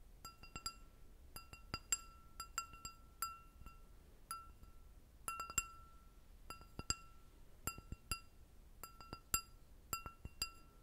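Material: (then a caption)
Glass. Long nails tap and scratch an empty clear glass goblet with a short stem, giving a quiet, irregular series of quick, sharp clinks in small clusters. Each tap rings briefly with a clear mid-pitched tone and bright, high overtones, over a soft, faint low background.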